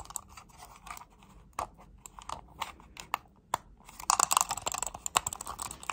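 Long nails click and tap on a hollow, black plastic wireless computer mouse. Quiet, dry clicks and light taps come in scattered bursts, each stopping at once with no ring. After about four seconds they pick up into a denser, brighter flurry of rapid clicking.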